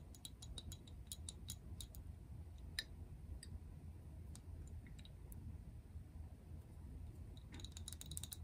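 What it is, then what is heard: Plastic bottle tapped with fingernails. A translucent frosted plastic toner bottle with a pink cap, holding liquid, is tapped with long acrylic nails while held up. Quick, light, bright clicks and ticks come in loose clusters over a quiet low rumble, each dying away almost instantly. A denser burst of taps arrives near the end.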